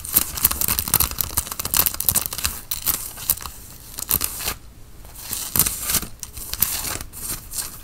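Long fingernails scratch the chest fabric of a worn grey Nike quarter-zip cotton fleece sweatshirt near its black logo band. Dense, bright, raspy scratching comes in quick bursts, easing briefly around the middle before picking back up.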